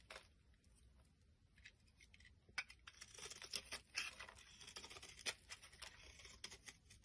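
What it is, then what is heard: Soap bar being scraped. A metal blade scrapes crumbly flakes off a solid white bar of soap held in the palm. The result is a quiet, dry, bright scratching and crackling texture of many short, irregular scrapes. They grow busier and sharper in the second half, with a few crisp ticks.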